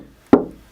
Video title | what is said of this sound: CGPENT™ 2014 | it makes it sound a lot more solid